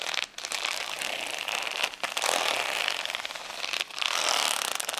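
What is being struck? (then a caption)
Plastic rhinestone sticker sheet. Long fingernails scratch across the acrylic gems of a flat plastic rhinestone sticker sheet resting on a towel. The result is a dense, bright, crackly scraping texture with almost no low end. It runs nearly continuously, with brief dips around 0.3, 2 and 3.8 seconds as the strokes change.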